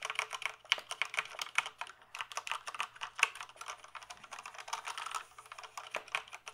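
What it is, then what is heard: Plastic mechanical keyboard being typed on. Fingertips type on the keys of a black plastic mechanical computer keyboard, first held upright and then resting in front. The result is a rapid, uneven stream of sharp, bright clicks and clacks that stop almost instantly, with a faint low hum underneath.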